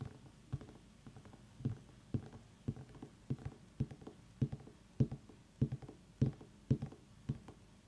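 Long nails tap and scratch the ribbed rind of a small whole orange pumpkin held in both hands. The taps are dull, low and hollow, with almost no ring, arriving at an uneven rhythm over a faint scratchy patter.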